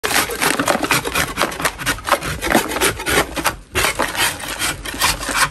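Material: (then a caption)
Chalk. A gloved hand scrapes a large solid lump of soft white natural chalk in a plastic bin with a metal putty knife, knocking off powdery crumbs. Rapid, dry, rasping strokes follow one another with a bright, gritty hiss and little low end. There is a brief pause near the middle before the scraping resumes.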